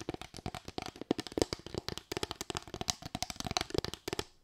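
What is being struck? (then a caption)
Bamboo slatted board. A small, light bamboo board with raised slats, tilted in the hand, is tapped and scratched with long white nails. About 29 rapid, dry clicks and scratches follow one another, each dying almost at once, with a hollow woody tone around 340 Hz and bright, crisp edges.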